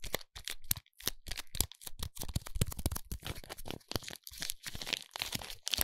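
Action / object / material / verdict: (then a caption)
scrape / soap bar in a foil wrapper / aluminium foil / none. Fingers squeeze and crinkle the silver foil wrapping of a foil-wrapped soap bar. The clip is a dense run of short, crisp crackles and crunches with a bright, papery edge and a soft low thump under each squeeze. The bursts come in quick, uneven clusters separated by brief gaps.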